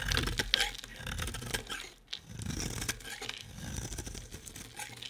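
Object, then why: Bar of soap. A solid, hand-sized bar of soap with a pink marbled coating and white core is held in one hand and shaved with a utility-knife blade, producing crumbly flakes. Dry, bright scraping and crunchy crackles come in quick bursts, with short pauses between strokes.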